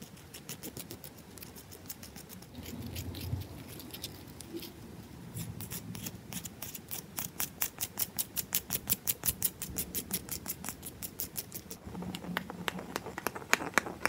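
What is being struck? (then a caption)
Carved bar of soap tapped and scratched with fingernails. Long nails scratch and tap a heavily carved, solid bar of soap up close. Soft, dry scratching gives way to a rapid, steady run of crisp, bright clicking taps that quicken through the middle and continue to the end.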